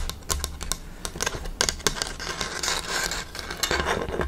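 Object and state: Bamboo slat panel tapped with nails.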